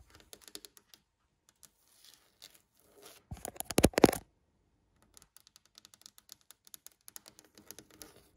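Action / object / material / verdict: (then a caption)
tap / varnished solid wood tabletop / wood / none. Long nails tap and scratch near the edge of a glossy, varnished solid wood tabletop. Quiet, scattered, dry clicks give way to a louder, dense burst of scratching in the middle. Sparse light taps then return, with no ringing after each contact.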